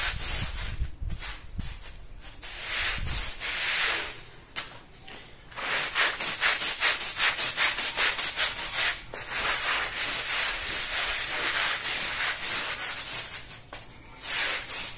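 A long-handled plastic-bristle brush scrubs a small, muddy woven rug with a floral pattern, covered in soapy powder and water. Steady, bright, hissing strokes repeat in a loose rhythm, with a few low thumps near the start and brief quieter pauses between bursts.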